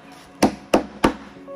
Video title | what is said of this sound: Sub hơi 50 phục vụ các thượng đế thích sập sình. Bass 50 các bon coil 125 và màng giấy coil 100 | Cái thùng này nó làm cái ván chịu nước rất là cứng.